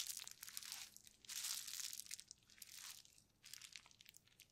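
A painted, clear plastic bubble wrap sheet with hollow bubbles is held and crinkled by gloved hands, then laid flat and pressed with the palms. It makes quiet, bright crinkling and crackling in several swelling bursts, with dense sharp ticks and almost no low end.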